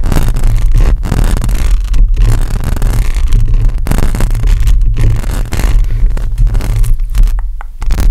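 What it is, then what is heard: Metal mesh microphone grille being scratched. Long acrylic nails on one hand scratch across a hollow metal mesh microphone grille. The result is a continuous, loud scraping rumble, heavy in low bass around 74 Hz, with short dips in level as the strokes change.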